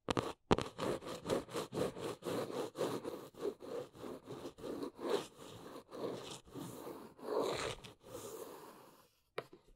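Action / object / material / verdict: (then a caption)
scrape / corrugated cardboard box / cardboard / none. Long nails scratch and tap the surface and edges of a large, hollow, brown corrugated cardboard box. A rapid run of short, dry, rasping strokes with a midrange papery tone softens into quieter, longer scrapes. A brief pause is followed by one last sharp tap.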